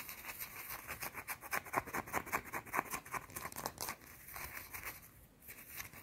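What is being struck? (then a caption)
Bar of soap. A small, round, solid white soap bar held in the hands is scratched and tapped with long dark teal nails. Quick, uneven bursts of dry scraping and light clicking, bright and crisp, pile up fast for about four seconds. They then thin out into softer, quieter scratching.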